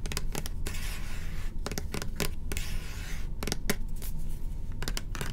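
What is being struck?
Plastic cleanser pump bottle.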